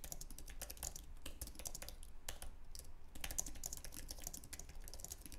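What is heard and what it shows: Both hands' fingertips type rapidly on a white, low-profile wireless Apple Magic Keyboard, with an aluminum base and plastic scissor-switch keys, resting on a wooden desk. The result is a quick, continuous patter of short, bright, light clicks that stop instantly, over a steady low rumble.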